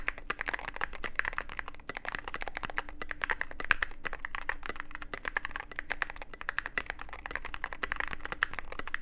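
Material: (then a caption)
Plastic. A Cyberboard mechanical keyboard with plastic keycaps and a dark case is typed on continuously with the fingertips of both hands. A fast, steady stream of short, dry clacks has a mid-pitched plastic tone. Each keystroke stops almost instantly, and there is a faint low hum underneath.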